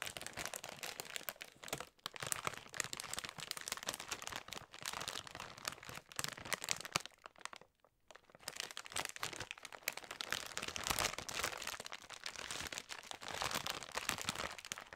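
A large metallized plastic bag full of Snickers mini chocolate bars is picked up from a table, held in both hands, turned over, and crinkled by fingers and long nails. The result is dense, bright, crackling crinkles that run almost continuously, with brief quiet gaps near 2 and 8 seconds.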